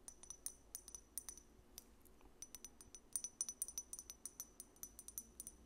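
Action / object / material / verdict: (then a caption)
tap / small glass dropper bottle with cap / glass / none. Long nails tap on a small, apparently filled amber glass dropper bottle with a paper label, striking both the glass and its dropper cap. A quiet, rapid series of crisp, bright clicks and tinkling high-pitched pings, each dying away almost instantly, grows slightly denser and louder in the second half.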